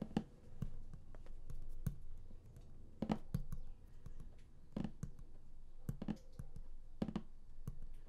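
Fingertips tap quickly on the printed top lid of a large, flat, closed and hollow cardboard game collector's box. The soft taps come in irregular bursts of dull, hollow thuds that are mostly low-pitched, with a little high click on each contact. Each tap dies away almost instantly.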